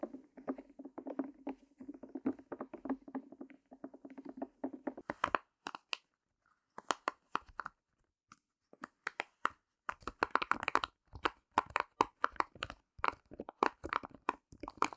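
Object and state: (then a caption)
Silicone pop-it toy. A heart-shaped rainbow silicone pop-it with hollow bubbles is tapped rapidly with long nails, giving a soft, hollow drumming with a low, boomy tone for about five seconds. It is then held up in both hands and pressed, producing irregular bursts of sharp, bright pops and clicks separated by brief silences, growing denser toward the end.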